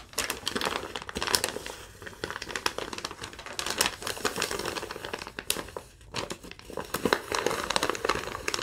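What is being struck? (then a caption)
Thin lined paper sheet. Long nails crinkle and rub a crumpled, thin sheet of yellow lined paper. The result is a steady run of dry, bright crackles and rustles with sharp little snaps throughout and almost no low end.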